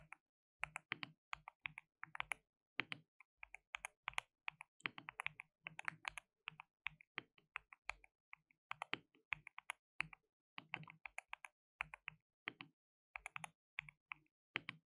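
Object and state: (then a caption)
Plastic mechanical keyboard being typed on. Fingertips type rapidly on a white RGB-backlit compact mechanical keyboard with plastic keycaps and a hollow case. Quiet, bright, dry clacks come in quick bursts separated by short pauses, each keystroke dying away almost instantly, with a faint low thump beneath the high click.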